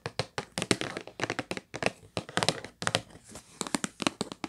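Long nails and fingertips tap rapidly on the top and edges of a hollow purple Kleenex cardboard tissue box. The sound is a quick series of distinct, short, dry taps and clicks with a bright edge, each dying away almost at once.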